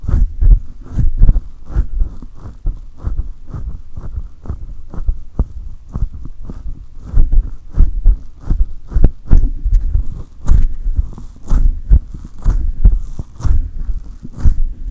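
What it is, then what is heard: Metal mesh microphone grille being rubbed. Both hands clasp a silver condenser microphone with a hollow metal mesh grille and rub and grip it rapidly. The result is a steady run of deep, muffled thumps and booming pulses centered near 62 Hz, each dying away quickly, with faint bright scratchy rasps over the top.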